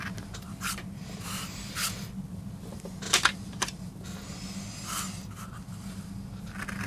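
A wooden-handled steel gouge scrapes grooves into a small, flat, solid MDF board inked grey with a carved rose, while the other hand braces the board. Short bright scratching strokes rise over a steady low hum, with a few sharper scrapes standing out midway.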